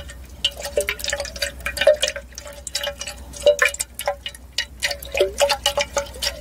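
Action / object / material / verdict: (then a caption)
tap / glass decanter with water / glass / none. A large, clear, hollow glass wine decanter, partly filled with water and held in the hands, is touched and tapped on its narrow glass neck with fingertips and nails. Irregular quick taps and bright clicky nail ticks sound, with occasional soft watery sloshes. Some taps give short chime-like rings around 600 Hz that fade quickly.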